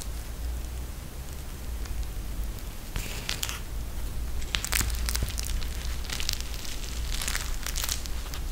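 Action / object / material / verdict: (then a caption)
scrape / plastic eye mask filled with gel beads, fabric trim / plastic, gel / none. A pink eye mask, made of a clear plastic shell filled with gel beads and edged with fabric, is held in both hands and squeezed and pressed with the fingertips. Bright, crinkly plastic crackles come in bursts that grow busier after the first few seconds, over a steady low hum.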